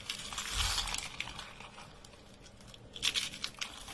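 A hand presses thin, brittle, dry beige soap shavings and rolled curls, and fingertips crush a soap sheet. The result is bright, crisp crunching and crinkling, with a dense burst early on, a quieter stretch, and then sharper snapping crackles near the end.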